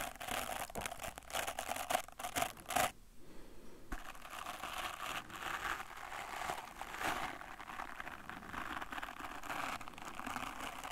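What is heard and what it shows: A small brush with a wooden back and natural bristles, held in one hand, has its bristles scratched and rubbed with fingertips. The result is a dense, crackling, crinkly scratching texture with rapid bursts. There is a brief quieter gap near three seconds before the steady rubbing resumes.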